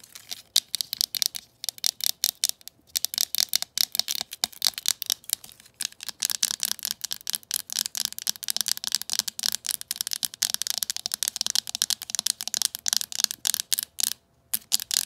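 A green glossy hollow plastic telephone handset is tapped and scratched up close with long matte and jeweled acrylic nails. Rapid, dense, bright clicking taps and scratchy rubs come in an almost continuous stream, with very short decays and almost no low end.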